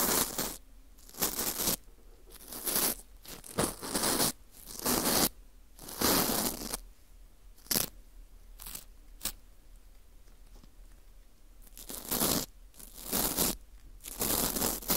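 A teal plastic scraper scrapes the rim and hollow center hole of a porous dried wheat gluten ring (fu). Irregular bursts of bright, dry, crunchy scraping and rustling come in short strokes separated by near-silent pauses, each stopping dead with no ring.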